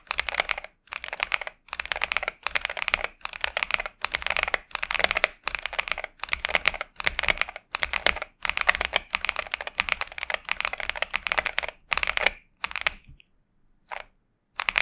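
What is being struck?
Mechanical keyboard with plastic keycaps.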